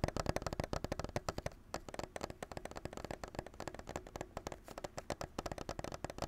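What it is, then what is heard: Plastic clamshell package with a controller inside. A hand-sized white and clear plastic clamshell package holding a Nintendo Switch controller is held in both hands and tapped and scratched with fingertips and nails. The result is a quick, steady stream of short, dry plastic taps with hollow low thumps, light scratchy texture between them, and almost no ring after each tap.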